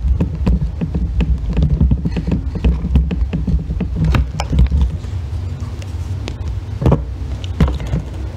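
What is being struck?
Soap bar scraped with a metal loop tool.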